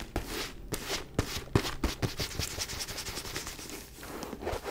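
Long nails tap and scratch the top surface of a white faux leather mini backpack lying on its side. Sharp, dry taps fall at an uneven pace between bright, rasping scratches with a low thud, each dying away almost at once.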